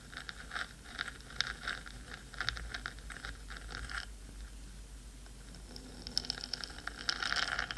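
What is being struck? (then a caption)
Metal microphone housing. Long pointed nails scratch the black metal body of a 3Dio microphone, a hollow housing, while the other hand rests near the rim. Quick, bright, scratchy strokes tap and scrape in a steady rhythm, fading to a softer hush in the middle before returning denser and crisper at the end.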